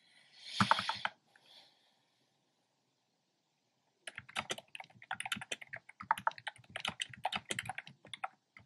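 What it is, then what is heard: Plastic keyboard being typed on. A black plastic keyboard with hollow round pastel retro-style keycaps is typed on by fingertips with short painted nails. A brief burst of broadband noise opens the clip, followed by silence, then a rapid run of light, clacky keystrokes with a bright edge and very little low end.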